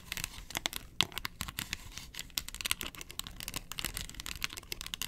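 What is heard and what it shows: Long nails scratch across the molded ridges of a round, hollow yellow plastic box lid. The result is a dense run of quick, dry, bright scratching clicks and rasps with little low end, each tick stopping at once without ringing.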